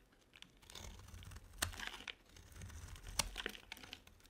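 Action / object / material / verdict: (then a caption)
scrape / bar of soap cut with a metal blade / soap / none. A metal utility blade carves curls off a ribbed, dry solid soap bar, blue outside and pink inside, held in the hand. Dry, bright scraping and crinkly crunching rise and fall as each curl is shaved away, with two sharp, brief snaps standing out as the blade bites through. The sounds are quiet and close, with almost no ring after each cut.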